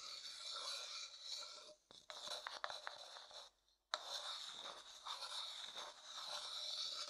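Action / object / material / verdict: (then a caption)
scrape / small wooden bowl scraped with a wooden stick / wood / none. A thin wooden stick taps and scrapes the inside of a small, empty, light-coloured hollow wooden bowl. The result is a steady, bright, rasping scrape with some sharper clicks, broken by a brief dip near two seconds and a short silence just before four seconds, then continuing to the end.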